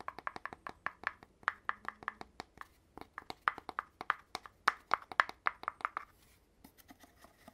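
Fingers tap on the end cap of an opened red cardboard tube, its bare cardboard interior exposed, next to the empty tube body. About thirty quick, dry taps each give a short hollow knock centered around 1 to 2 kHz with almost no ring. The taps come in a steady rhythm and grow louder in the middle before thinning out into a few faint taps at the end.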